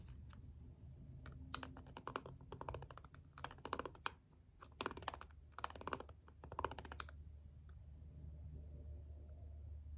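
A green jade stone roller is rolled over and pressed onto a small, hollow plastic LED remote with rubbery push buttons, setting off the button clicks. Quick, dry bursts of clicking arrive in clusters between about 1.5 and 7 seconds, over a steady low rumble that continues throughout.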